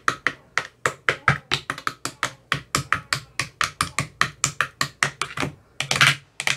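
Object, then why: Empty plastic ice cube tray tapped with a metal rod. A thin metal rod with a white rounded tip taps inside the hollow cells of an empty, translucent, frosted plastic ice cube tray with 15 compartments. It makes a quick run of about 30 sharp, bright, hollow clicks, each dying away almost at once over a faint low resonance. Near the end there is one longer, rougher tap.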